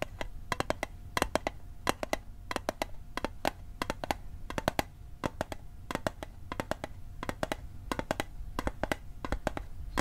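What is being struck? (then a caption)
Small metal mint tin. Fingertips and nails tap the sides of a small, hollow, rectangular metal Altoids mint tin held on its edge. Quick clusters of sharp, bright metallic ticks repeat steadily, each dying away almost instantly over a faint sustained mid tone and low background rumble.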